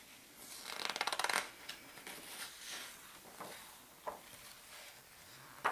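Both palms smooth and rub the glossy map pages of a large open paper atlas, then fingers lift and turn a page. A bright, crinkly burst of rapid rustling comes early, followed by softer sliding and rubbing. A couple of short, crisp paper flicks land near the end.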